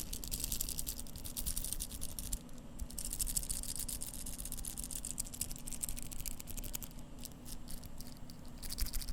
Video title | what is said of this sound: ASMR - Seiko SBDC053 Watch Sounds (Whispers, Tapping, Scratching, and Turning) | Now the bracelet is jingly, just a bit. However, it's a very dense sounding jingly sound, which is quite interesting.